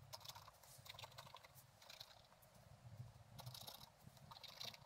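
A thin wooden stylus scratches across a flat page of black-coated scratch-art paper with a gold underlayer, bound in a book. Quiet, dry scratching comes in short bright bursts and rasping strokes over a faint low hum.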